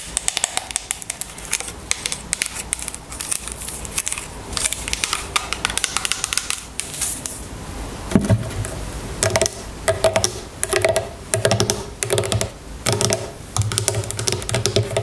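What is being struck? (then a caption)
Small plastic bottle of oil. A small, full plastic bottle of jojoba oil is handled, then laid on its side on a table while long nails tap and scratch along it. The first half is a dense, bright rustle of handling and scratching; the second half turns into quick, sharp taps with a hollow, low-mid ring.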